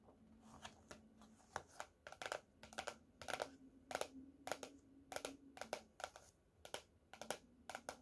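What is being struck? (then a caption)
Hardcover notebook with cardboard cover. Fingernails tap the cardboard cover of a closed teal hardcover paper notebook lying on a table. The sound is a quiet, irregular series of short, dry, bright clicks, some in quick doubles, over a faint steady low hum. Each tap dies away almost instantly.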